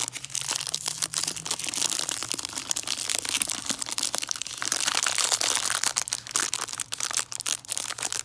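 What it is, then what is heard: Cellophane-wrapped hard candy. A hard peppermint candy tree wrapped in cellophane is crinkled and scratched with fingernails. Dense, bright crackling and rustling continue for about eight seconds with little low end, over a faint steady low hum.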